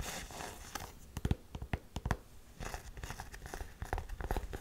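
Long nails tap and scratch the canvas near the logo of an empty black canvas Converse high-top with a white rubber sole. Soft, dry scratching and rustling runs throughout, broken by sharp, dull taps that thud low and die away almost instantly.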